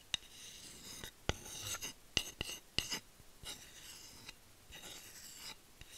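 Long nails scratch the flat head of a solid bamboo spatula held near the mic, making bright, rasping strokes. Sharp, dry clicks punctuate the scratching, each dying away almost instantly.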